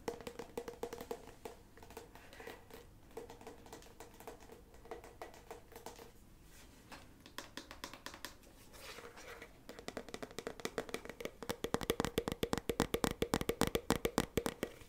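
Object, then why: Soft plastic squeeze tube of body scrub. A full-looking, medium blue soft plastic squeeze tube of Pacifica Coconut Cream body scrub with a white flip cap is held in the hands and tapped with long nails and fingertips. Quick, dry, clicky taps with a hollow low-mid tone come in an irregular stream, soft at first and growing louder and denser over the last few seconds.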